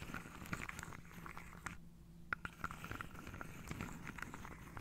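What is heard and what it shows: Long painted nails run over and tap the tops of upright wooden dominoes packed into a hand-sized carved wooden tray held on the lap. Soft, dry scratching mixes with quick, crisp clicks that ring briefly around 1.4 kHz, over a low rumble. The tapping pauses for a moment near the middle before resuming with a few sharper knocks.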